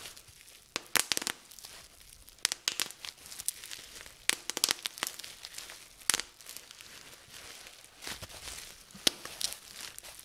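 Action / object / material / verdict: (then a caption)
scrape / plastic bubble wrap / plastic / none. Clear plastic bubble wrap is gathered and twisted between both hands while fingers pop its air bubbles. Sharp, bright pops and snaps burst out irregularly over a steady, soft crinkling of the plastic. Each pop is short and dry, with almost no low end.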